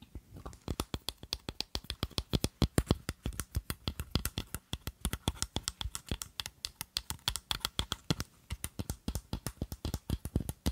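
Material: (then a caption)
Glass. Long glittery acrylic nails tap and scratch a square clear glass perfume bottle holding pink liquid, topped with a glass stopper with a bow. Dozens of quick, dry clicks come in a steady, fast rhythm, each with a low thud and a bright tick that dies away almost instantly. Faint scratchy rustles fill the gaps between taps.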